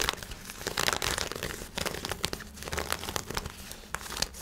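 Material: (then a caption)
Nylon. Black lightweight nylon shorts with an elastic waistband and drawstring, held up in both hands, are scratched and rubbed with fingernails. The result is a steady run of dry, bright crinkling and rustling with quick, crackly bursts and little low end.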